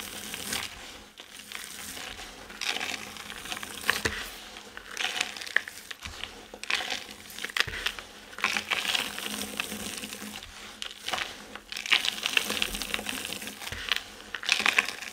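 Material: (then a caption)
Soap. Hands lift handfuls of dry soap chips from a pile of soap shavings and drop them back, crushing and sifting the crumbly pieces. A dense, bright, dry crackling and crunching rises and falls in bursts, with quick sharp ticks and no low rumble.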